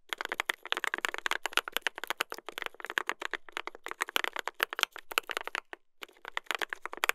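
A mechanical keyboard with a brass plate and plastic keycaps is typed on continuously by two hands using fingertips. Dense, rapid clicky clacks run in quick bursts, bright with little low end, and pause briefly near the end before the typing resumes.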